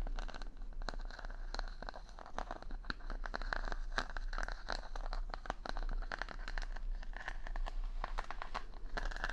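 Fingertips and nails stroke and scratch the wooden pin bristles of a wooden paddle brush, set in a rubber pad, close to the mic. A dense, steady run of dry crackling clicks and quick scratchy ticks is heard, with a bright edge and a faint low hum underneath.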